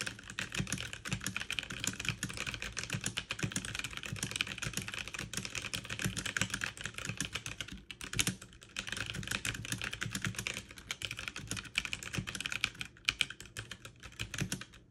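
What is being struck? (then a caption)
Plastic mechanical keyboard keys. Fast two-handed typing with fingertips and long nails on a backlit mechanical keyboard with plastic keycaps. It produces a dense, steady stream of bright, sharp clicks and clacks that die away almost instantly. The rhythm stays rapid throughout, with brief dips around the 8- and 13-second marks.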